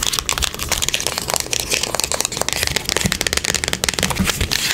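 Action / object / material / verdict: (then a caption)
tap / small closed cardboard box / cardboard / none. A small, closed, hollow printed cardboard product box is held in the hands and tapped and scratched with long acrylic nails on its face and edges. Rapid, dry, crisp taps and scratchy rasps run continuously, bright and papery with a faint hollow thump underneath. Each tap dies away almost instantly.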